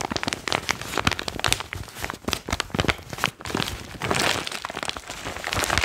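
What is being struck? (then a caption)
Foil-lined plastic pouch. A foil-lined plastic chalk bag is crinkled and squeezed by fingertips close to the mic. It makes dense, sharp crackling and crinkling with bright, papery texture and short snaps. In the middle it grows into a more continuous rustle.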